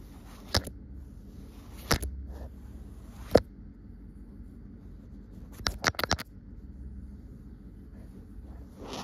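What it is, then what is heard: Printed cotton fabric. Long nails scratch and tap on a soft green cotton fabric with a white line print, spread flat. Sharp, dry taps come one at a time, then in a quick cluster, over faint, soft scratching and a low background hum.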